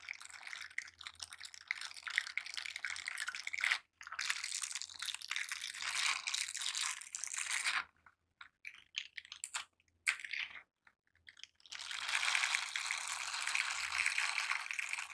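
Gloved hands in silicone scrubber gloves with dense bristles clasp, rub and scratch against each other. The result is a dense, bright, crackly bristle scratching in long bursts, broken by a brief gap near 4 seconds and a stretch of short, choppy rubs with silences before the steady scrubbing returns.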